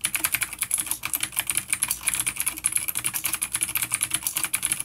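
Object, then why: Plastic mechanical keyboard with clicky switches. Fast, even typing on a full-size black plastic vintage mechanical keyboard with grey keycaps, a coiled cable and clicky blue switches, an A-grade unit resting on a wooden desk, with both hands tapping the keys with their fingertips. The rapid key taps come as a dense stream of sharp, bright clicks with almost no low end. Each click dies away almost instantly.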